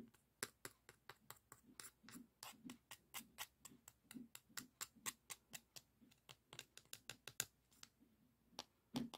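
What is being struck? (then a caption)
Emery board nail file. Fingernails scratch and tap along the gritty surface of a long, flat beige emery board nail file held in the hand. About thirty quick, dry, bright scratchy strokes come in a steady, slightly uneven rhythm, each ending at once with no ring. The sound is soft and close, over a quiet background.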